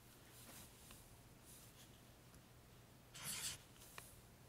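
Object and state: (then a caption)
Felt-tip strokes on paper book pages. A pink felt-tip highlighter makes long, slow strokes across the rows of printed paper pages in an open paperback guide, while fingertips rest on the facing page. Soft, bright scratchy swishes rise and fade over a faint low hum, with a louder, brighter rasping stroke near the end followed by a brief tick.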